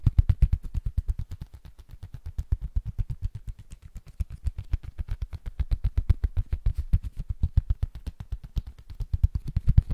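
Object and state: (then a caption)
Cork board. A small, flat, solid rectangular cork board is held in both hands close to a Zoom mic while fingertips and short nails tap and scratch its surface quickly. The result is a rapid, steady stream of short, dull, low thuds with almost no ring, rising and falling slightly in loudness, with faint scratchy texture between taps.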